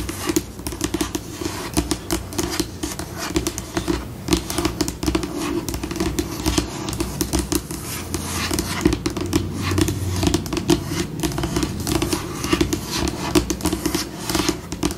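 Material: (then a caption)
Laminate. Long pink nails on both hands tap quickly and scratch across a white, glossy, solid laminated tabletop, shifting between slow and fast scurrying. The sound is a dense, steady patter of short, dry clicks layered over scraping, with a low-mid tonal band near 320 Hz and little ring after each tap.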